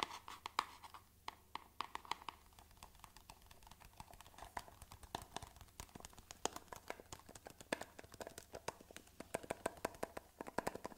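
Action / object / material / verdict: tap / small cardboard box / cardboard / none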